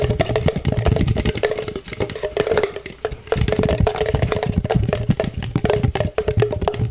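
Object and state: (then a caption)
Plastic cup. An empty, hollow black plastic cup with a printed logo is held in the hands and tapped quickly with the fingertips and nails. The result is a rapid, dense stream of short, dry, hollow knocks with a low thumping body and a faint ringing tone. Each tap dies away almost instantly.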